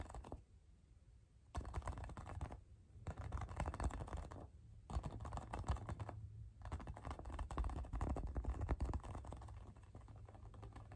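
A hollow, inflated pink rubber playground ball with a sticker is held in both hands and tapped and scratched with the fingertips and nails. Quick, dry clicks and scratchy rustles come in dense bursts separated by short quiet pauses, over a steady low hum. The taps sound dull and short, with almost no ring.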